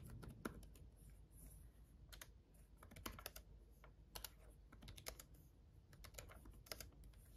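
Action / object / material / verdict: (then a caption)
tap / plastic laptop keyboard keys / plastic / none. Both hands tap with their fingertips on the red backlit plastic keys of a black gaming laptop keyboard. A quick, uneven run of short, bright clicks plays over a quiet, steady low background, with each tap dying away almost at once.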